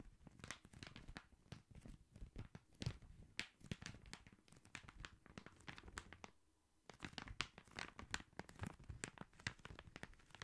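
Fingertips and nails tap and scratch the red Christmas wrapping paper on a long gift-wrapped cylinder, likely a hollow cardboard tube, held horizontally and then diagonally. Quick, dry taps mix with crisp paper crinkling and scratching, with thuddy low tones and bright rustle. A brief near-silent pause comes around the two-thirds mark before the tapping resumes.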